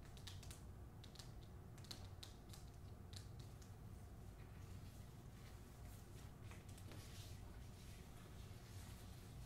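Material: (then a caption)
Paper. Long acrylic nails tap quickly on the glossy paper dust jacket covering the front of a hardcover novel held in hand. Light, dry clicks and soft ticks run in a steady stream over a quiet, low background hum.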